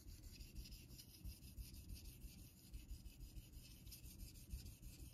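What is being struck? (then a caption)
Steel razor on synthetic water stone. A vintage Geneva Cutlery steel straight razor is honed on a solid light-blue rectangular Naniwa synthetic water stone set in a metal holder, with fingertips guiding the blade. Repeated honing strokes, about three per second, make a soft, steady scraping and rubbing, with a low rumble underneath and a bright, hissy edge on top.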